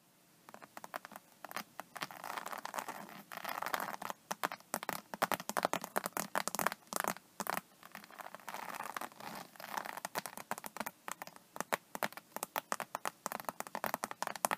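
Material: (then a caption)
Vinyl. Long painted nails tap and scratch across a flat, iridescent, embossed faux snakeskin vinyl iPad case lying on a table, its hollow cover stretched over a rigid board. Dozens of quick, dry clicks and scratchy rasps sound across the scaly texture, bright and papery with almost no low end. Each hit dies away almost instantly, with softer brushing passages between bursts of tapping.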